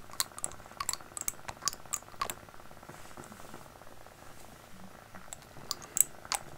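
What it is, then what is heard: Glass dropper bottle. Fingernails tap on a small glass dropper bottle with a white label and its cap, held close to the microphone. A series of sharp, bright, typing-like clicks sounds over a soft, steady low rumble, with a quieter stretch of light rustling in the middle before the taps return.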